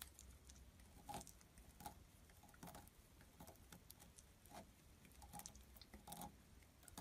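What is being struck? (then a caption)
Bar of soap shaved by a metal blade. A palm-sized solid blue bar of soap with embossed lettering is held in one hand and shaved with a metal utility knife blade, scraping curls and flakes off the bar. Quiet, irregular scraping strokes come as short crackly bursts, some carrying a faint ringing tone around 830 Hz, over a soft low background hum.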